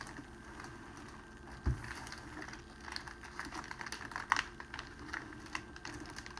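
A large, flat, clear cellophane sheet lying on a tablecloth is pressed, rubbed and scrunched with flat palms and fingertips. The result is soft, irregular crinkling and crackling with scattered bright snaps and a dull low thump near the start.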